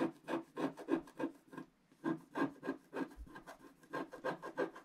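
A wooden stylus scratches the black coating in the lower right area of a wax-coated scratch-art paper page lying on a table and held in place by the left hand. A quick, fairly regular series of short, dry rasping strokes is heard, with a brief pause just before the two-second mark before the scratching resumes.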